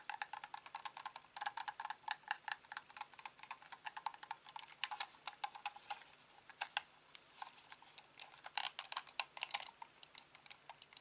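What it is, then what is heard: Plastic computer mouse. Fingertips click the buttons of a hand-sized, hollow, black plastic corded computer mouse and tap its underside after it is turned over at one point. The result is a quick, uneven run of sharp, dry clicks and taps, each dying away almost at once. The sound is bright with no low-end weight.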